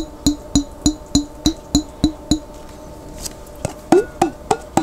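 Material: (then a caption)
Glass. A glass jar containing water is tapped 13 times, with eight evenly spaced taps, a short pause with a faint rustle, and then five more taps. Each tap is a short, resonant, percussive knock with a clear tone around 350 Hz and bright high overtones that fade quickly.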